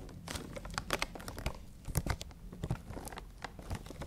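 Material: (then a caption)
Cardboard. Long nails tap and scratch across a printed cardboard toy box with a clear plastic window and figures inside, touching both the cardboard and the window. Quick, irregular crisp taps and scratchy crinkles sound close over a low, dull body, with a few louder knocks standing out.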